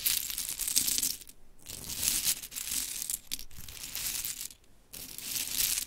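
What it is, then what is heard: Small wooden clothespins clattering. Long chrome nails pick up and drop handfuls of mini pink wooden clothespins and rake through the pile, making a dense, bright clatter. The sharp clicking comes in bursts separated by short quiet gaps, with little low end.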